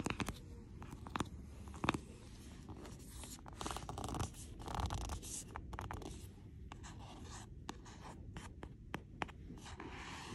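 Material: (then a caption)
Plastic, board. Long painted nails and fingertips grip and scratch along the spine and edge of a large hardcover library book in a plastic jacket on a library shelf, partly pulling it out as neighbouring books touch it. Dry, continuous scratching and rustling is broken by short, sharp taps and clicks that die away almost instantly, over a low, muffled rumble.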